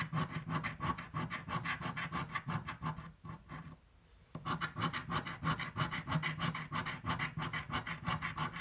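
The edge of a metal coin scrapes a thin yellow paper scratch-off lottery ticket lying flat on a dark table. Quick, rhythmic rasping strokes, about three per second, carry a low hum and bright papery grit. They pause near-silent for about a second in the middle, then resume at the same pace.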